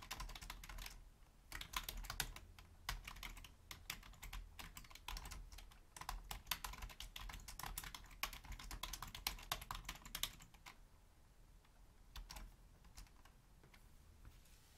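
Both hands with long nails type on a black Logitech full-size plastic keyboard while the mouse sits untouched. Fast, dense bursts of bright, short plastic key clicks over a low thump run for about ten seconds, then thin out to a few scattered quieter taps.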